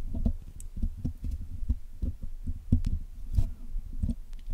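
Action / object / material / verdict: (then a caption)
tap / metal wire mesh microphone grille picked with steel tools / steel mesh / none. A steel hook pick and steel tweezers poke and pick at the wire mesh of a Blue Yeti microphone's black hollow metal grille while it is being cleaned. The result is a quick, irregular run of short, dull, low thumping taps, with a few faint bright clicks scattered between them.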